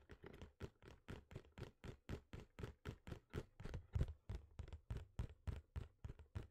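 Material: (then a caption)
Cardboard. Fingertips and nails scratch and tap the surface of a small, hollow, printed cardboard box for a computer mouse held in both hands. A steady run of quick, dull, low scratchy taps lands about three or four per second, each dying away almost at once.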